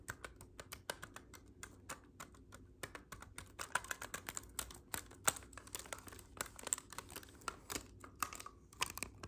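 Fingers tap and press the silver metal keys of a black clarinet held vertically, its hollow body unplayed. Quiet, rapid, irregular clicks follow one another closely, each short and dry with a bright edge, like typing on a keyboard.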